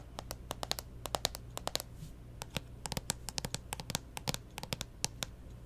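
Long nails tap and scratch the plastic lid of a closed pink Nintendo 3DS XL with stickers resting on a table. Quick, dry, bright clicks with no ring come in irregular bursts over a low steady background hum, and the taps fall in uneven clusters throughout.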